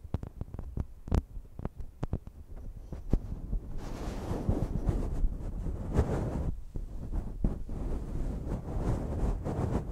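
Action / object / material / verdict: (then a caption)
tap / metal pencil condenser microphone / metal / none. Long nails and fingertips tap and scratch the capsule heads and hollow bodies of two identical slim silver metal pencil condenser microphones on stands, their bare grilles uncovered by foam. Sharp, separate taps open the clip, then give way to dense, continuous scratching and rubbing. The sound is boomy and heavy in low-frequency rumble.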